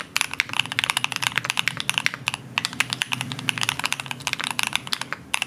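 Two hands type steadily on a compact green aluminum-case CannonKeys Satisfaction75 mechanical keyboard with plastic keycaps, fingertips pressing the keys. The result is a fast, continuous stream of short, bright clacks centered around 2.2 kHz. The clacks have almost no low end and no ring after each keystroke.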